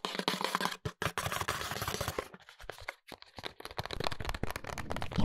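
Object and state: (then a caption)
Cardboard cosmetics box. Fingertips and short nails tap and scratch the front and back faces of a small rectangular printed cardboard cosmetics box, held in the hands, with a plastic window showing a hair oil bottle inside. A dense, dry scratching rasp fills the first two seconds, broken by a few brief pauses. It then gives way to quick, muffled, papery taps with dull low thumps that die away almost instantly.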